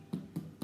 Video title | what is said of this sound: Cooking with Mandy - Brown Bread | if i tap the end of the bread it's like a really hollow sound and that's the way you want your brown bread to be